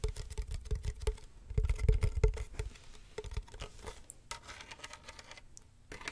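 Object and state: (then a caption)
Wicker basket box tapped and scratched. Fingernails tap and scratch a medium hollow box with woven wicker sides and a black textured top, held close to the microphone. Quick, uneven taps give low, hollow thumps that fade almost at once. The taps then ease into quieter, brighter scratching rasps across the surface.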